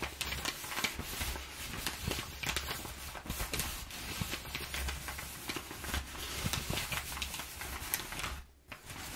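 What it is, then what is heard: Crumpled kraft packing paper. Hands rub flattened, crumpled kraft packing paper on a wooden table while long nails scratch across it. The result is a dense, bright crinkling and scratchy rustle with quick ticking accents over a faint steady low hum, and a brief near-silent dip just before the end.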